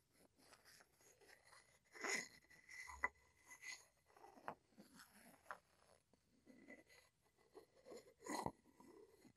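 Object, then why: Wooden mortar and pestle. A matching wooden pestle is tapped and scraped against the rim and sides of a small, hollow, light-wood mortar that appears empty and is held in one hand. Quiet, dry wooden knocks mix with soft scraping and bright, brushy texture. A faint tone near 2 kHz runs through, and each tap dies away almost at once.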